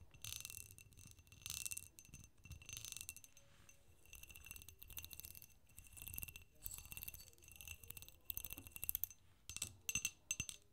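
A small, empty green glass candy dish with a clear cut-glass pedestal foot is held on its side in both hands while long acrylic nails tap and scratch its foot and bowl. The result is a quiet, bright stream of fine clicks and scrapes with short glassy rings and no lasting tone.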